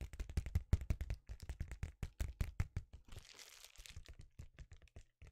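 A thin, flexible, rectangular sheet of reflective metallized foil bubble wrap, about tablet size, is held up in both hands and tapped and scratched with fingertips and nails. Quick, irregular dull taps with low thumpy body come in dense bursts. Around the middle, they give way to a brief bright, crinkly scratching rustle before the tapping resumes more softly.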